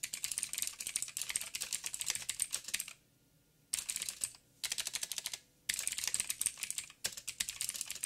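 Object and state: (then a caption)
Mechanical keyboard with plastic keycaps. Fingertips of both hands type on a backlit mechanical keyboard with black plastic keycaps on a silver frame and a hollow housing. Rapid, bright, clicky key taps come in dense bursts, broken by short silent pauses around the middle and again near the end, and each tap dies away almost instantly.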